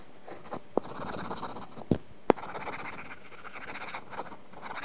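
A stylus tip scratches short coloring strokes across an iPad's flat glass screen covered with a matte, paper-feel plastic film. The result is a soft, continuous papery scratching, with three sharper clicks standing out above it.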